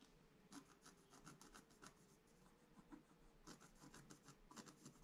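A pointed wooden stylus, held in the fingers, scratches across a flat black-coated scratch art paper sheet with a gold layer beneath, the sheet lying in a book on a table and held still by the other hand. A quiet series of short, dry rasping strokes, each a brief bright scrape with a low papery rub under it, comes in irregular bursts with little ring after each stroke.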